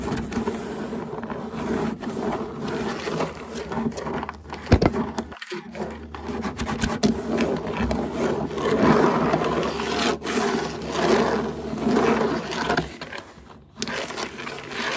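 Long nails and fingertips scratch and rub across solid hardwood floorboards, making a steady, dense scraping and scurrying texture with a low steady hum underneath. The rubbing swells and eases in uneven bursts, with a couple of brief quiet gaps along the way.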